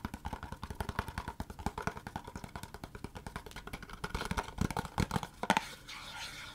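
Long fingernails rapidly tap and scratch a long, narrow, empty-looking white Laneige cardboard product box held in the hand. Dozens of quick, dry, hollow taps with a boxy midrange tone and a soft low thump run together in a steady flurry, growing louder and sharper toward the end. The clip closes with a brief, brighter scratching rustle.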